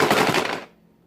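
A capped plastic bottle holding only wooden beads, a homemade baby rattle, is shaken to show how the wooden beads sound compared with plastic ones. It gives a dense, bright rattling clatter for about 0.6 seconds that quickly fades to near silence.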